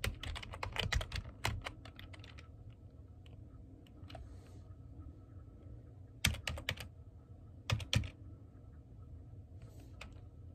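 Fingertips type on the keys of a black plastic computer keyboard, giving a quick run of sharp, bright clicks in the first second and a half. Short clusters of clicks return around six and eight seconds, with quieter gaps between them. A steady low hum runs underneath throughout.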